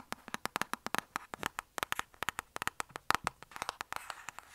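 Long nails tap rapidly on a closed, flat rectangular black cardboard lipstick palette box held upright, giving about 30 short, dry clicks. Each click is crisp and bright, centred around 1.3 kHz, with almost no ring or low end. The taps come in quick, uneven bursts.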